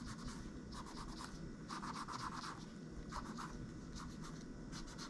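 A gloved hand scratches and rubs a cotton swab over the plastic keys of a laptop keyboard, then moves toward the palm rest at the end. Quiet, repeated scratchy rubbing strokes come in short bursts, centered around 1 kHz with a bright, airy hiss, over a steady low background rumble.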